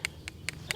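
A dried, cut-off Dutch poppy seed head held up close is tapped and shaken, giving four quick, bright, hollow clicks with a light rattle of loose seeds inside. The pod is ripe and dry, with seeds inside, and ready to tip out.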